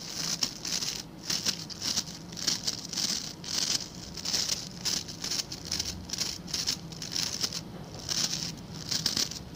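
A hand-sized blue scrub brush with stiff white-and-blue plastic bristles is held in one hand while the fingertips and nails of the other scratch and flick across the bristles. The result is a dense, bright, crackling patter of short scratchy bursts that come in quick, uneven waves. A faint low hum sits underneath.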